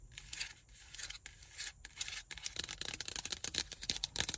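Long nails tap and scratch the body and lid of a hollow, empty black plastic car ashtray cup. The sound is quiet, bright clicking and scratchy rubbing, with short, dry taps that speed up into a dense run of quick clicks.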